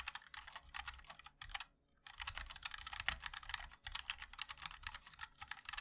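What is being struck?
Mechanical keyboard with plastic keycaps.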